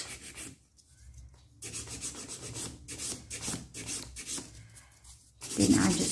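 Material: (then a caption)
Acrylic. A nail file is rubbed back and forth across the surface of a solid, long stiletto-shaped acrylic or gel nail extension on one finger to shape it. Dry, raspy strokes of bright, hissy scraping come in bursts separated by brief pauses. The final stroke is louder and fuller.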